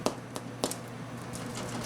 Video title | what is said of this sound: French Bread - Homemade in Oma's Kitchen | When you tap it, you want it to sound a little bit hollow.